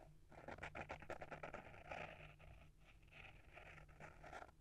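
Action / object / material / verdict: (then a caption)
scrape / small hardcover book with paper-wrapped board cover / paper, cardboard / none. Short fingernails and fingertips scratch and tap the paper-wrapped board cover of a small, solid hardcover book held in the hand. The result is a brisk, irregular run of dry scratches and soft, quick taps that die away fast, centered in the mids with some bright rasp, over a steady low hum.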